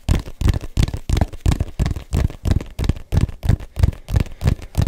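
Fingertips and nails tap and scratch the textured rubber surface of a small, hollow, inflated neon-yellow soccer ball. They make a quick, fairly irregular series of dull, low thumps with a short scratchy edge, each dying away almost at once.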